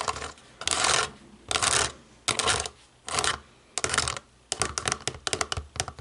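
Long nails work over the rubber buttons of a small, hollow black plastic DVD remote control. Several short bursts of bright, raspy scratching alternate with brief pauses. A quick run of light, crisp clicky taps follows.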